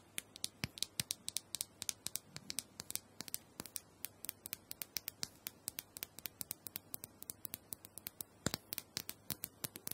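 Long nails tap and scratch across the smooth dome of a small, round, hollow plastic massager held in the palm. About sixty quick, crisp, bright clicks fall in an uneven rhythm, each dying away almost instantly, with faint scratching between them over a low, quiet background.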